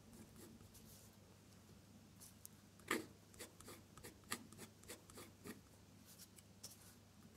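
A metal dip-pen nib scratches across a sheet of drawing paper, drawing small red petal shapes while the nib stays in contact. Soft, dry scratching strokes with sharper bright ticks and a louder scrape near three seconds sit over a steady low hum. Each stroke stops almost at once with no ring.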